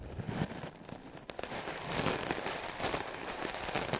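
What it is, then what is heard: Melamine foam sponge being brushed. A white, solid, rectangular melamine foam sponge held by the fingertips is brushed fast and aggressively with a wooden-backed clothes brush with black bristles. The result is a dense, crackling, scratchy rasp across a broad range up to bright highs, growing louder and more continuous in the second half.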